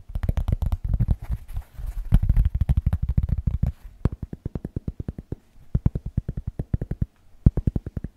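A large, flat, round cork board, thin and solid, is held close in front of the microphone and tapped and scratched with the fingertips. The result is a fast, steady stream of dull, low, muffled thuds with almost no ring. Busier scratching texture fills the first few seconds before the taps continue as separate rapid knocks.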